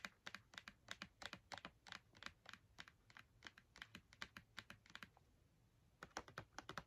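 Long red nails tap rapidly on the front of a filled Crayola cardboard marker box held upright, with some taps landing near its top edge. The taps are crisp, bright and dry, dying away almost instantly, with a short pause before a final quick burst.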